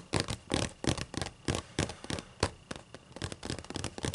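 Long acrylic nails scratch and tap across the white paper pages of an open, thick book. The result is a quick, uneven series of dry, brushy scrapes and soft taps with short, crisp hiss and very little ring.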